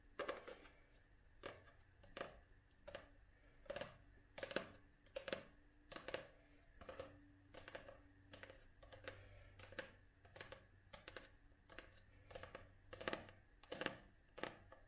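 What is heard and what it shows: A paperback book is held flat while long nails tap and scratch its glossy cover and page edges. Quiet, irregular taps with a bright edge come in loose clusters, with soft scratching in between, over a faint low hum.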